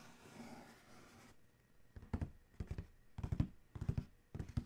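Fingernails scratch and trace over the printed lid of a large, hollow black Adidas cardboard shoe box. A soft, airy scraping opens the clip, then gives way to clusters of dull, low, hollow thuds and rasps.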